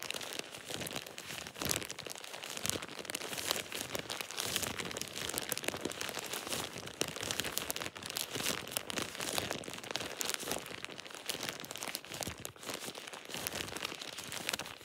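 A thin plastic shower cap with an elastic edge is squeezed and crinkled between fingers for about 15 seconds. It makes a steady, dense stream of bright, crackly crinkling with sharp little snaps and almost no low end.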